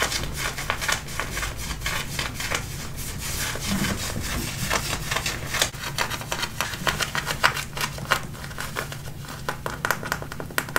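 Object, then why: Denim fabric of worn jeans. Fingertips and nails scratch the waistband and front of light-blue, high-waisted, button-fly denim jeans being worn. The result is a steady run of quick, dry, rasping strokes across the fabric, bright and broadband, with occasional sharper scrapes standing out.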